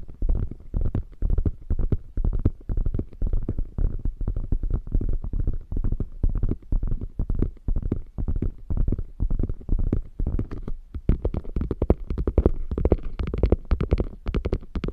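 Long nails scratch the quilted flap of a beige quilted faux leather bag, then trace its edge. The result is a dense run of quick, dull scratching strokes, heavy in the low end, that grow brighter and scratchier toward the end.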